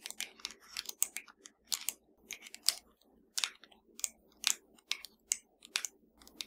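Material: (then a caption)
Plastic. Long matte nails tap and click across the rubber buttons and hollow casing of a flat black plastic TV remote lying on a dark surface. An irregular run of quiet, sharp, bright clicks rises and dies almost instantly, with a faint low hum between taps.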